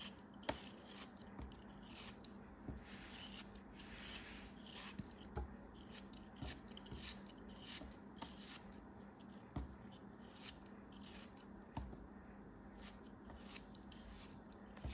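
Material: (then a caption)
Sand. A metal utility knife blade scrapes and slices through a small, solid beige kinetic sand block held in the fingers. Gritty, bright scraping rasps repeat with short, crisp crunching cuts, over a quiet, steady low hum.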